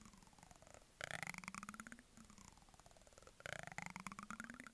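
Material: Plastic.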